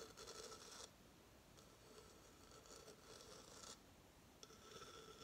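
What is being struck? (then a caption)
Coconut shell hideout. Fingernails scratch and tap a hollow coconut shell hamster hideout and its coconut base while it is held in the hand. Bursts of dry, bright rasping alternate with softer gaps, carrying a faint hollow tone around 500 Hz. The sound is quiet and close, with little low end.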